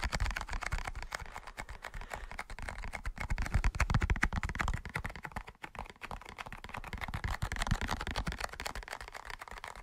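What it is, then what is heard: Cardboard matchbox, hollow. A large, closed, hollow cardboard matchbox with a red-orange label is tapped quickly with fingertips and short nails. The rapid, uneven taps make dry, clicky, hollow thuds with a deep low body and very short decay, briefly softening around the middle before picking back up.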